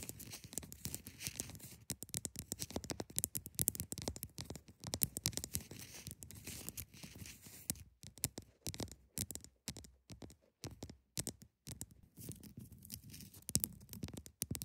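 Long nails scratch the sides and top front face of a large solid block of ice. The result is a dense run of quick, dry, scraping strokes that carry both a low rasp and a bright hiss. The strokes break into shorter bursts with brief gaps in the middle before turning steady again.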